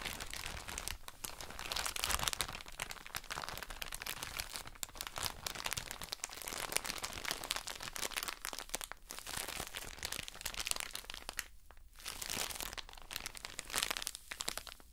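A soft plastic drawstring bag full of cotton wool pads is crinkled with long nails. The result is a steady stream of bright, dense crinkling and crunching with fast-decaying crackles. A brief quieter pause falls near 12 seconds.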